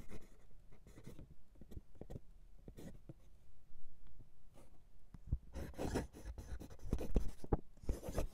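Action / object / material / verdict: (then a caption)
scrape / steel fountain pen nib on lined writing paper / paper / none. A steel fountain pen nib writes cursive in green ink on a flat sheet of white lined writing paper, its nib scratching across the paper surface. Quiet, irregular scratchy strokes come in short bursts, growing busier and louder with brighter scratching near the end.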